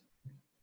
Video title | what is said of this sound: PIM2 Lecture2 2 Oleg Bychkov | so if you make strokes on the table you can hear dull sound